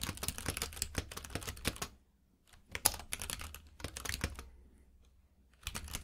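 Both hands type with their fingertips on a compact mechanical keyboard with plastic keycaps in a grey frame, which is lying on a purple rug. The result is bursts of rapid, crisp clicking key taps with bright, clacky highs and a soft low thud. The typing stops briefly around the two-second mark, resumes, fades into a quiet stretch, then starts again near the end.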